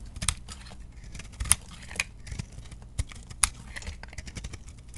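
A metal blade scrapes thin curled shavings off a round, solid bar of chunk soap held in the hand. Quiet, crisp scraping clicks and brief bright rasps repeat irregularly over a low, soft background.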